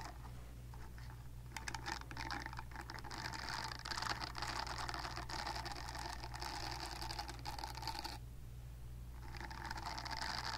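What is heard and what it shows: Long dark nails scratch and flick the nubs of a purple silicone facial cleansing pad close to the mic, making dense, bright scratching and rapid ticking over a steady low hum. The scratching briefly stops around the eighth second, leaving only the hum, then resumes.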